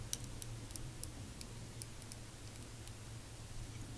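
A small square glass nail polish bottle with pale pink polish and a plastic cap is held in both hands and tapped with long painted fingernails on its glass sides and cap. Faint, sharp, bright clicks come at an uneven pace and die away almost instantly, over a steady low hum.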